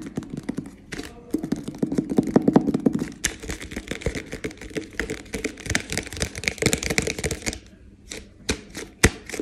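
A medium white plastic protein powder tub with a green lid, hollow and with no visible fill level, is tapped quickly with fingertips and short nails on its sides and bottom. The result is a rapid, dense stream of short, dry, hollow plastic taps and sharp nail clicks that thins into a few sparser, louder taps near the end.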